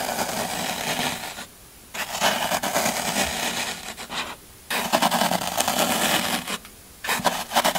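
A small metal blade repeatedly scratches and scrapes the side of a solid green floral foam brick held down by hand. The result is dense, crunchy, rasping scrapes, bright and airy with little low end, coming in long bursts separated by brief quiet pauses.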